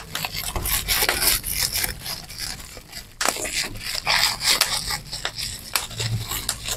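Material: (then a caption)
Plastic. Gathered clear plastic bubble wrap is held in both hands while its bubbles are squeezed and popped with the thumbs and fingertips. Continuous bright crinkling and rustling runs throughout, broken by irregular sharp, snappy pops, with a louder burst of pops a little before the midpoint.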